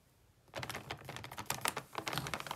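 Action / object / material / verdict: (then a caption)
scrape / foil-lined plastic chip bag / foil-lined plastic / none. Long purple-painted nails and fingertips rub and press a medium sealed, foil-lined plastic Lay's crab chip bag full of chips, lying flat on a green mat. After half a second of near silence, a run of dense, bright crinkling and crackling begins, with sharp crisp peaks and little low end.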